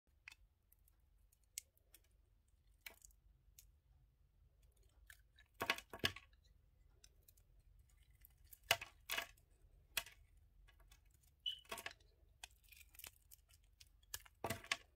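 A yellow utility knife blade shaves and peels the red outer layer off a palm-sized solid bar of soap with a white core, held in one hand. Short, crisp scraping and clicking cuts come at an irregular pace, bright and dry with almost no ring, over a faint low hum. Some strokes come in quick, louder clusters.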